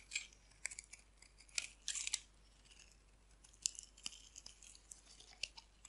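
A solid white oval bar of dry soap, held in the hand, is shaved with a metal blade so thin flakes curl off. Quiet, dry scraping strokes come in a series of short, bright bursts with almost no low end and no ringing, with soft hiss between them.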